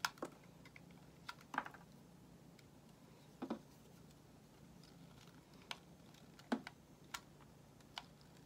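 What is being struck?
Solid bar of soap cut with a metal blade.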